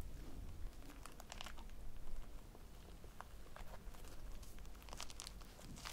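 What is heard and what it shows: A small solid polyurethane foam squishy toy shaped like a cake slice, with pink icing, yellow crumbs and an orange topping on a phone strap, is held in both hands, squeezed and scratched with long painted nails. Soft crinkling and quick bright scratches sound over a low, muffled rumble.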